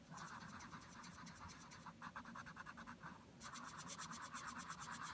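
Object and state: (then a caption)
Colored pencil shading on a paper page. A hand shades a flat printed paper page of a Secret Garden coloring book, showing a scarecrow illustration and lying on a table, with a wooden Prismacolor Premier colored pencil in steady back-and-forth strokes. The result is a continuous dry, scratchy rasp with a bright, hissy edge and a rhythmic pulse from each stroke. It eases briefly just past three seconds, then the strokes return louder.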